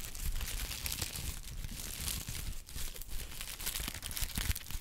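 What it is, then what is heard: Honeycomb kraft paper wrap. A small pad of brown honeycomb kraft paper wrap is pinched and crinkled with the fingers. It makes a steady, dense crinkling and crackling with bright, high paper texture over soft low handling thumps. The sound rises and falls slightly but never stops.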